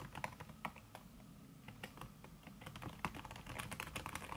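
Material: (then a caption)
Silicone. Fingertips and long red nails type fast on a backlit aluminium laptop keyboard fitted with a red silicone key cover, producing a quick stream of short, soft taps. The clicks are muffled and dry with almost no ring, with bright clicks over a low thud, and they come in bursts that pick up pace toward the end.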